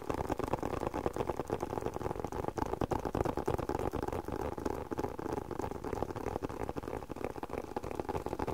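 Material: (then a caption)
Leather. Fingertips and nails tap and scratch a hollow, hand-sized black leather glasses case. Rapid, uneven soft taps blend with continuous scratching, giving a dull, muffled patter with no ring after each tap.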